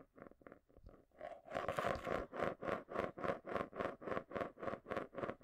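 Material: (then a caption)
Plastic. A marble swirls and rolls around the inside base of a small, round, hollow clear plastic container held upside down in both hands close to the mic, scraping and rattling against the plastic. It starts with soft, quick ticks, then builds after about a second and a half into a steady, even run of louder whooshing swirls. The swirls have a resonant hollow tone near 560 Hz and a bright scraping hiss on top.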